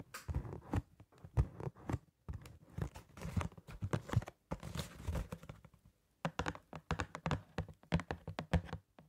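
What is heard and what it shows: A small, hollow printed cardboard box of disposable gloves is held in hand near the microphone and tapped with long painted nails. Quick, dull, low-pitched taps come in uneven bursts, mixed with light scratching and crinkling of the cardboard. A short silent pause falls before the final run of taps.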